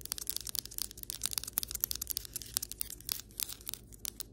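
Long white acrylic nails tap the surface of solid ceramic floor tiles up close, making a rapid run of about twenty sharp, bright clicks. Each tap is dry and dies out almost instantly, with a faint low hum underneath.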